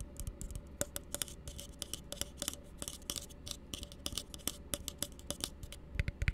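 An empty, hollow blue plastic tumbler is held upside down and tapped with the fingertips. The result is a quick, uneven series of dry, clicky taps with bright, crisp edges and almost no ring, over a steady low hum.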